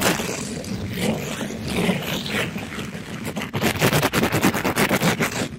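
A black-gloved hand rapidly scrubs a palm-sized, pink glittery mesh-covered sponge against a microphone grille. A steady, broadband scratchy rasp gives way after about three and a half seconds to a fast run of rhythmic, bright scrubbing strokes. Each stroke is a short, dry burst with almost no ring.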